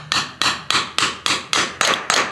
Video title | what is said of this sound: John's Trailer Wheel Bearings. Start to finish, Problems & He, like his dad, crushed my septic tank! | Now you'll notice by the sound what's happening. See, it sounds dull.